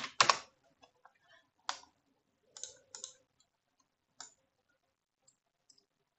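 Fingertips with medium-length nails type fast on a full-size black plastic computer keyboard resting on a desk. Sharp, bright key clicks come in short clustered bursts, loudest at the start, with quiet gaps and a few faint taps between. Each click dies away almost instantly with no ring.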